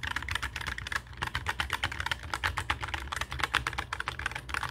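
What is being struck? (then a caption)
Mechanical keyboard with plastic keycaps. Both hands type with their fingertips on a black mechanical keyboard with plastic keycaps resting on a wooden desk. The result is a rapid, steady stream of short, crisp clacks with a bright, clicky edge and very little ring, over a faint low rumble.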